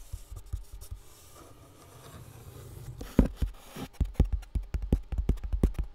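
A box with contents inside is tapped by hand, giving soft, dull, low thuds with almost no ring. Light, scattered taps and faint scratching come first, then a quicker run of firmer taps follows in the second half.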